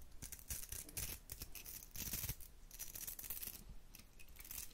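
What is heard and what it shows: Long nails scratch the bristles of a round hair brush with a metal barrel, held close to the microphone. The result is a quick run of dry, bright scratching and crackling bursts with soft low thumps, rising and falling in loudness without any ringing tail.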